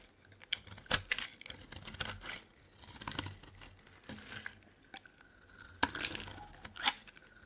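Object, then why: Bar of soap cut with a metal blade. A solid purple bar of soap held in the hand has shavings scraped and cut from its surface with a metal blade. The result is a run of bright, crisp scraping and crackling strokes with sharp clicks and quick, dry releases between quieter pauses.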